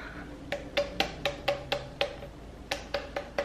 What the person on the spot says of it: you pick it up you tap on it and if it sounds hollow